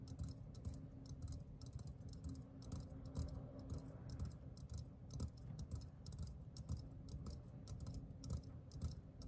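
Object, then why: Metal aerosol can. Fingertips and nails tap quickly and unevenly on the side of a hollow, green metal aerosol deodorant can. Each tap combines a bright nail click with a low, hollow body resonance. The tapping continues steadily throughout the clip at a soft level.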